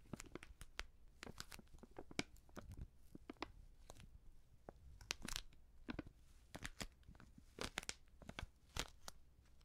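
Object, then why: Filled plastic seasoning pouch. Long nails scratch and crinkle a filled, medium white Prix Garantie plastic seasoning bag. Rapid, sharp crinkles and scratchy snaps break bright across the band, each one dying away almost at once. A steady, quiet low hum sits under the rustling throughout.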